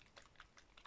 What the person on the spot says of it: you can hear it sloshing uh in one of these little squeezy bottles